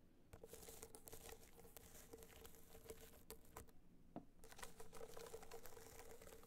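Long nails tap and scratch across a small, rigid, hollow box clutch covered in gold metallic material with raised dots. The result is a steady, quiet stream of dry, crinkly scratching and soft pattering taps, with a faint hum underneath. The scratching briefly thins out just after the four-second mark before resuming.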